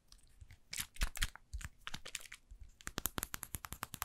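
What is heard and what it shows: A small, hollow, light-blue plastic spray bottle with a white pump head, appearing to hold liquid, is held in a hand and scratched and tapped with long painted nails. Irregular crunchy, crinkling scrapes with a low thump give way to a quick, steady run of sharp, bright clicking taps that stop dead with no ring.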